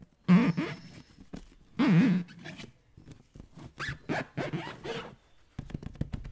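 A hand-sized, light green latex balloon filled with liquid is held close to the microphone and scratched and rubbed with the fingertips. Two loud, squeaky rubbing bursts with a wavering low pitch stand out, followed by quieter, irregular scratches, scrapes and soft thumps.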